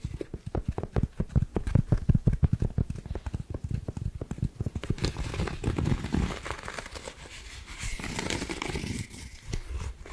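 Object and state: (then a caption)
Cotton rope coaster. A palm-sized, solid, round white coiled cotton rope coaster is tapped and scratched with long acrylic nails while held close to the mic. Quick, dull, low thumps patter rapidly for the first half, then give way to a softer, brighter rustling scratch with lighter taps mixed in.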